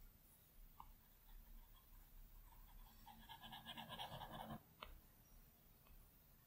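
A plastic Apple Pencil tip makes short, scratchy strokes across the large flat glass screen of an iPad Pro. The quiet strokes grow denser and brighter midway, then stop with a couple of sharp taps on the glass, leaving only faint background hiss.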